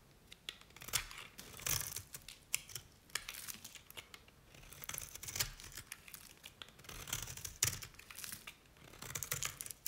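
A utility knife blade cuts and scrapes thin strips from a solid green bar of dry Nevskaya Cosmetics soap. The result is a string of crisp, bright scraping and crackling strokes with short, sharp transients. Some strokes come in quick bursts, and there are quiet gaps between the passes.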